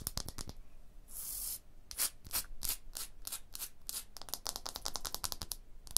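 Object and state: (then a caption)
Limestone block wall. Long blue-painted nails and fingertips scratch and tap a large, solid tooled limestone block wall with chisel striations. Quick, bright clicking taps come in rapid bursts, with a longer hissing scrape early on. Each tap is dry and stops almost at once.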